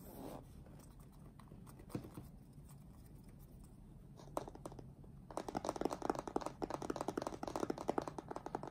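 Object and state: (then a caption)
Cardboard box with contents. Fingertips tap rapidly on the top face of a closed, printed cardboard retail box for a keyboard, hollow with the product inside, and a hand rubs across it. A soft, low scratchy brushing with a couple of isolated knocks gives way to a fast, dense run of hollow, papery taps that fill out the second half of the clip.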